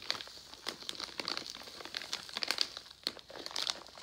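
A Jolly Rancher plastic foil candy pouch is turned over and pressed flat with the hands. It gives a steady run of dry, bright crinkling with irregular sharp crackles and no low end.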